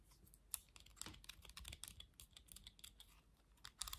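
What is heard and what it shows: Long nails tap and scratch across the slotted back and bristles of a black plastic vented hairbrush. The result is a quiet, rapid run of dry, bright clicks and scratchy ticks that die away instantly, with a few sharper taps standing out near the start and end.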